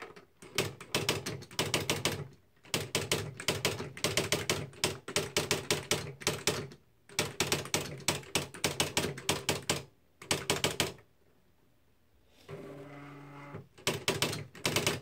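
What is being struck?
Plastic electric typewriter.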